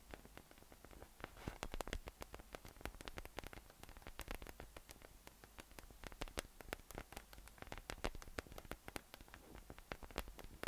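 Fingertips tap and scratch across the nubs on top of a yellow, hollow, inflated PVC spiky massage ball resting on a table. The result is a quiet, steady stream of rapid, dry clicks and sharp ticks over a soft scratchy rustle, each tap dying away almost instantly.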